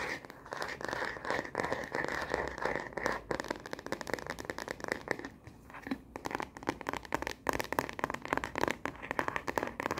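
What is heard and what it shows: Long nails tap fast on a star-print plastic phone case fitted to a smartphone, which is held upright and then horizontally. The result is a dense stream of quick, sharp clicks and light scratchy crackles with a thin, bright edge. The hits run too close together to count.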